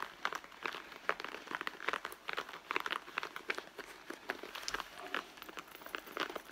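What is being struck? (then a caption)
Leather handbag. Long nails scratch across the leather front panel of a red leather handbag. The result is a quick series of dry, crinkly scrapes with bright texture and almost no low end. Each stroke dies away almost instantly.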